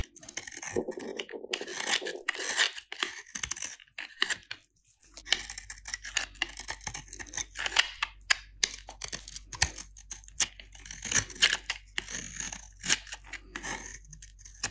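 A metal utility-knife blade scrapes and shaves the flat face of a solid, dry white soap bar with a blue painted rim, held in the hand. It makes crunchy, crumbly flaking sounds: a dense run of quick, bright scratches and crackles with no ringing. A faint low hum sits underneath from about five seconds on.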